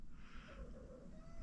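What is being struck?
Nothing is struck.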